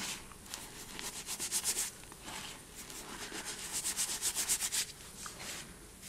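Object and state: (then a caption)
Cornstarch and gym chalk powder. Fingers rub through a bowl of loose white cornstarch and gym chalk powder and let it pour back down, making a soft, grainy, bright rubbing hiss. The rapid scratchy strokes swell into two louder bursts, one near the start and one past the middle, before easing back to a quiet rustle.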